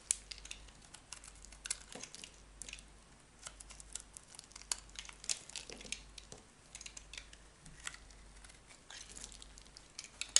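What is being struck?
Cream bar soap cut with a metal knife.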